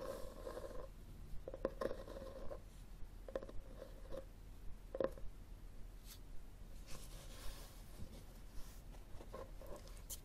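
Long fingernails scratch the cover of a solid red hardcover book with textured cloth binding, held tilted above a table. The quiet, dry scratching comes in irregular bursts with a faint tone near 530 Hz. A low rumble sits underneath, and each stroke stops short with no ring.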